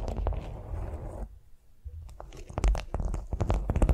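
Long nails tap and scratch a flat beeswax-coated cotton food wrap lying on a vinyl mat. A steady papery scratching fades into a brief near-silence, then a run of sharp, uneven crinkly taps with a deep, low-heavy body and bright crackle tops.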